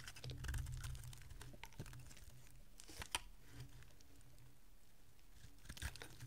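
A solid green bar of dry soap, held by long-nailed fingers, is carved with a small metal blade, and chips break off. Quiet, soft scraping and crumbly crunches run over a low background rumble, with short, bright clicks scattered throughout. Sharper snaps stand out around the middle and near the end.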